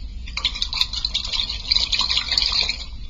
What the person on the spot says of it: you can hear the the water moving around inside the balloon